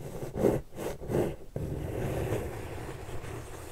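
Long purple nails tap and scratch the side panel of a medium pink corrugated cardboard shipping box held upright. A few dull, low-pitched taps are followed by a steady, soft scratching rustle on the cardboard.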